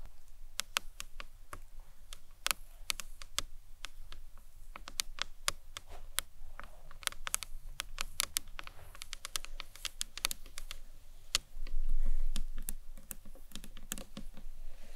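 Long nails tap the sides and then the top edge of a small, hollow, green marbled acrylic box clutch. The result is a quick, uneven run of sharp, bright clicks over a steady low hum, with a brief louder swell near the end.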